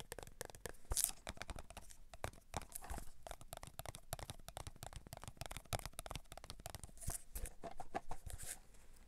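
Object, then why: Clear plastic tub of cotton swabs. A clear plastic tub full of cotton swabs is rotated, tapped and scratched with fingertips and nails. The result is a quiet, dense stream of dry clicks, soft taps and crinkly scrapes. Short low thuds mix with occasional bright scratchy bursts, and each sound dies away almost instantly.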